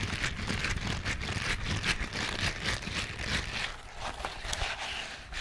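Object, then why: Silicone scrubbing glove with bristled palm. A green silicone scrubbing glove with a bristled palm, held in a hand, is rubbed and scratched quickly with fingertips. It makes a dense, continuous scratchy rustle with a bright hiss centered around 2.7 kHz over a low rumble. The sound eases slightly toward the end.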